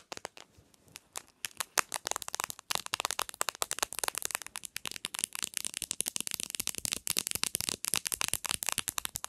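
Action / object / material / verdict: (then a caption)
tap / smartphone with glass front and plastic back / glass, plastic / none. Long nails tap rapidly on the edge and textured plastic back of a bare black Samsung smartphone made of glass and plastic, resting on a pillow. The crisp, bright clicks start sparse and quiet, then quicken into a dense, steady patter with almost no low end or ring.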